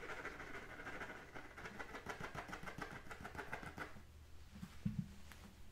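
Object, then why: Composite leather football. A full-size pebbled brown composite-leather American football with white stripes, hollow and inflated, is held in one hand and scratched with the fingernails of the other. Rapid, dense, dry scratching rasps over a low, hollow resonance for about four seconds. The scratching then thins out into a few soft, dull thumps and scrapes.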